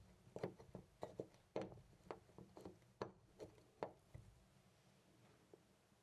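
A loose brass-finish metal door knob on a white panel door is held by the fingertips and jiggled, giving eleven quiet, short, mid-pitched rattling clicks. The clicks come in an uneven rhythm and fade out over the last couple of seconds.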